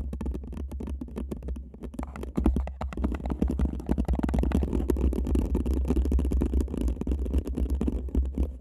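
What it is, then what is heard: Paper cup. A single empty paper cup sits upside down over a microphone while two people scratch and tap its sides with long manicured nails. The result is a dense, irregular stream of quick scratches and taps over a heavy, boomy low rumble, muffled and close, with little high content.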